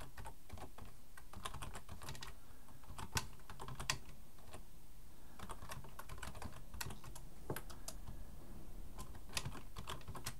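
Both hands type with their fingertips on a black plastic full-size Logitech keyboard resting on a wooden desk. The result is a steady stream of quick, dry key clicks with sharp bright edges that die away almost instantly, over a constant low rumble, with a few slightly louder taps standing out.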